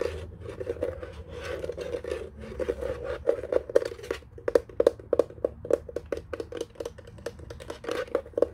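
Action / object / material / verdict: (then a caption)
tap / plastic desk telephone base / plastic / none. A white hollow plastic desk telephone lies face down on a blanket while its underside is tapped and scratched with fingertips and nails. Soft scratching gives way to a rapid run of sharp, hollow plastic taps with a mid-range knock and bright clicky edges, mixed with rasping scrapes.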